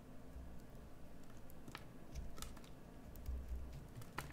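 A solid green bar of soap is carved with a metal carving tool held in the fingers, scraping and shaving off pieces. Soft, quiet scrapes and crisp little crunches come one after another over a low, steady rumble, with several sharper bright shaves standing out.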